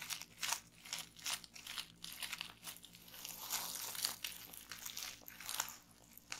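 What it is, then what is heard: Plastic bubble wrap. Fingertips and long nails press and pop bubbles on a roll of clear plastic bubble wrap resting on a table. Sharp, bright pops mix with crisp crinkling, and the sound is almost entirely high-pitched with very little low end. The pops are quick and dry, dying away almost instantly between bursts of plastic rustle.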